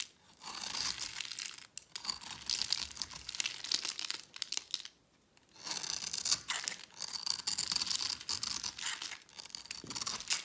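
A metal utility-knife blade scrapes and shaves the surface of a solid, palm-sized, blue rectangular bar of dry soap held in one hand, shedding crumbly flakes. The sound is a dry, bright, crackly rasping in long strokes, with brief pauses near 2 seconds and a short silence around 5 seconds before the scraping resumes.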